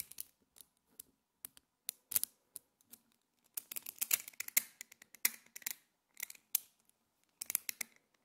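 Small multicolored solid metal magnetic spheres, held as a clump in the hands, are squeezed, broken apart and clicked together by fingertips and long painted nails. They make quick, bright clicks and snaps in irregular bursts with short pauses, each dying away almost instantly, with a faint scratchy rattle between them and no low end.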